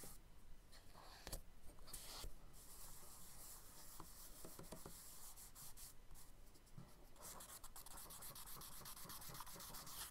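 A charcoal stick rubs and scrapes in long strokes across a page of a spiral-bound kraft paper sketchbook lying flat, while fingertips blend the marks. The result is a quiet, steady, breathy scratching with a bright, hissy grain and occasional sharper scrapes.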